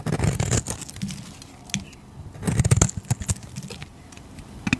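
A utility knife blade shaves the surface of a solid cream-white bar soap with a purple rim, held in the fingers. Short, crisp scraping strokes with bright crackle and soft low thuds come in two busy clusters, at the start and around the middle, separated by quieter, sparse scrapes.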